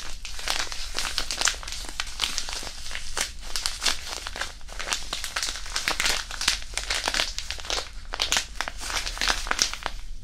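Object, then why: Disposable hand warmer, fabric pouch with iron powder. A small white disposable hand warmer, a non-woven fabric pouch filled with iron powder, is squeezed and crumpled between interlaced fingers close to the mic. The result is a continuous stream of dense, bright, crinkly rustles with short scratchy bursts over a faint low hum.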